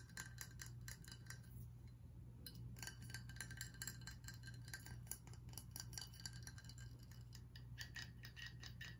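A tall glass whiskey bottle with ribbed sides and a metal base sleeve, partly full of amber liquid, is held in the hands and tapped and scratched with fingernails on the ribbed glass. Rapid, short, bright ticks and scratchy rasps follow one another over a steady low hum, each tap dying away almost instantly with no ringing tone.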